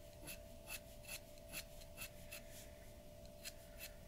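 The nib of a glass dip pen scratches a large, flat sheet of white drawing paper resting on a wooden table in short hatching strokes. Each stroke is a brief, bright, raspy scratch, repeating at an uneven pace over a quiet background with a faint steady hum.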